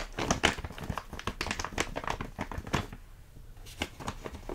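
A large, full plastic stand-up bag of rolled oats is tapped and squeezed by fingertips, making the plastic crinkle. Dense, crisp crackles and soft taps run in quick succession, ease off into a brief lull past the three-second mark, then resume with a few more crinkles.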